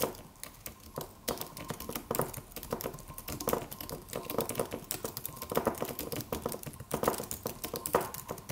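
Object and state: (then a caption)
Aluminum keyboard with plastic keys. Fingertips of both hands type on a slim silver aluminum computer keyboard with white plastic keys and a solid, low-profile body. A steady stream of quick, light key clicks with short, dry decay is heard, centred in the midrange with a little bright edge and a faint constant tone underneath.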